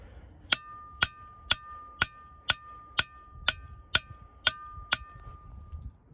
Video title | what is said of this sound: Rocks That Sound Like Bells When Hit With A Hammer At Ringing Rocks Park In Pottstown, PA | that is an awesome sounding Rock that's the best one right there